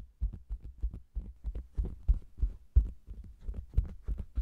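Long-nailed fingers tap and scratch the sides and bottom edge of a round, hollow faux leather cosmetics bag with a microphone inside. The result is a rapid, uneven run of about twenty deep, muffled thumps that die away almost instantly, with faint scratchy texture above them.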